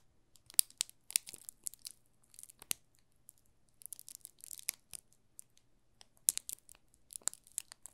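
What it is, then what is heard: Plastic-wrapped soap bar, crinkling film. Fingertips rub and crinkle the thin plastic film wrapped around a solid yellow soap bar held in both hands. Quiet, sharp, bright crackles and crinkles come in scattered bursts, each snapping off almost instantly. A faint low hum sits underneath.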